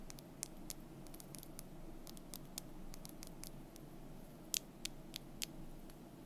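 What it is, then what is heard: Painted wooden strip tapped with nails. Long nails quickly tap and scratch a thin, solid, painted wooden month bar held close. Dry, bright clicks and scrapes come in an uneven, rapid patter over a steady low background hum. The sharpest taps land near the end.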